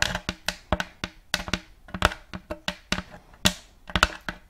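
Fingers and nails tap the front of a round, thin, shallow plate of light checkered wood, empty and held upright close to the mic. An irregular run of short, dry taps mixes bright nail clicks with soft, hollow wooden knocks. Each tap dies away almost at once.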